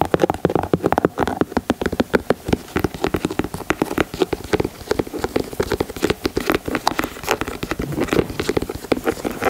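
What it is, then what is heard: Leather sneaker. Fingernails tap rapidly across the leather panels and toe of a white leather Air Jordan 4 sneaker. The result is a dense, steady stream of short, dry clicks that stop almost instantly, with no ringing, across about nine seconds.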